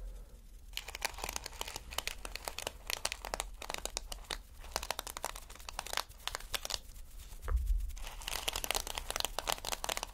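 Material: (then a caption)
Plastic. Fingertips and nails scratch and brush across plastic flip sequin fabric. The result is a dense run of quick, bright crinkling and scratching strokes with short gaps and a low rumble underneath. The sound swells briefly louder near the three-quarter mark.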